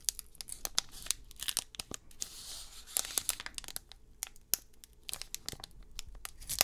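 Fingertips crinkle and tear open the metallized plastic foil wrapper of a 2022 Select UFC trading card pack, held close up in both hands. Dense, bright, sharp crackles and snaps come in quick bursts, with a steadier hissing rip partway through as the foil tears. There is little low end and almost no ring after each crackle.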